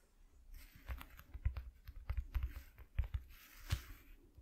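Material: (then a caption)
Cardboard. Fingertips and short nails of both hands tap quickly on a flat white corrugated cardboard piece lying on a dark cloth. A quick, irregular run of soft, dull low thuds comes through, each with a faint papery click on top, and the taps die out almost instantly.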